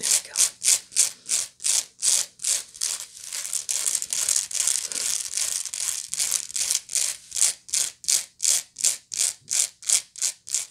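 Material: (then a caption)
Woven straw. Long acrylic nails scratch the coiled woven bottom of a medium, hollow, empty-looking woven natural-fiber straw or sisal-like bag. The result is a run of dry, bright, hissy scratching strokes with almost no low end. Evenly paced strokes at the start and end merge into a denser, near-continuous rasp in the middle.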